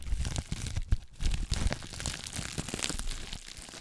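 Clear plastic bubble wrap held close to the mic is crinkled and scratched with long nails. It makes a dense run of crackling, crunchy crinkles with bright ticks over a heavy low rumble from the close handling. A few louder crunches stand out near the start, then the rustling settles into a steadier, softer scratching.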